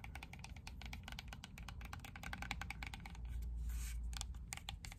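Long nails tap quickly and steadily on the casing of a hand-sized, dark grey, rectangular plastic portable Bluetooth speaker. The taps are short, dry, clicky ticks over a low rumble, with a brief scratchy brush partway through.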